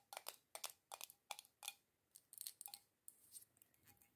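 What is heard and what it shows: Long acrylic nails tap the black metal screw lid and glass sides of a small glass jar candle filled with solid red wax. About fourteen quick, bright, clicky taps come in uneven bursts, each dying away almost instantly, with softer scratchy ticks toward the end.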